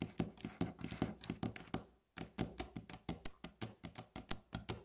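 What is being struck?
Wooden tabletop tapped with fingernails.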